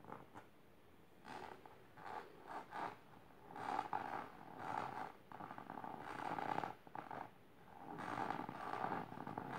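Long silver nails scratch aggressively with both hands across the fabric of a large pink patterned fabric-covered storage box or ottoman. Bursts of rough, rasping scratching swell and fade in uneven strokes with brief quiet gaps, centered in a mid-range around 850 Hz.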